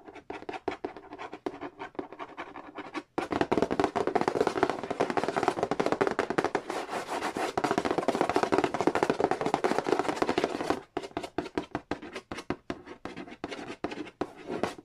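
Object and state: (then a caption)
Cardboard board game box. Fingertips tap on the printed surface of a large, hollow cardboard Monopoly board game box lid, giving quick, hollow knocks at first. Fingernails then scratch rapidly and steadily across it in a dense, dry rasp. The scratching stops abruptly and the fast, uneven tapping returns.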